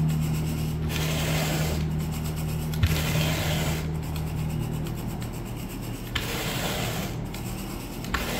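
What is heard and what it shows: A blue plastic-bristle rake on a long wooden pole is dragged across speckled brown and gray synthetic wall-to-wall carpet, rubbing and grooming the pile. Steady, raspy brushing strokes repeat at a brisk rhythm over a constant low hum, with a few sharper scuffs standing out.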